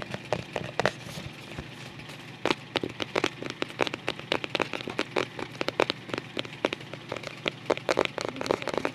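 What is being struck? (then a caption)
Paper-covered cardboard album cover. Fingers with short nails tap and scratch the paper-covered cardboard back cover of a closed white photo album held up in the air. Dozens of short, dry, crisp taps with bright, papery scratching crackle over a faint steady low hum, each hit dying away almost instantly.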